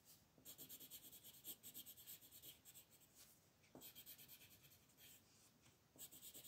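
A light blue wooden colored pencil is rubbed back and forth over a thin white paper mandala coloring sheet lying flat on a table while shading. The result is quiet, bright, scratchy strokes in a quick, uneven rhythm, with short pauses between bursts.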